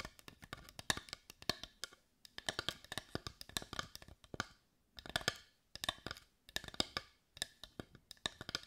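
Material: Wood.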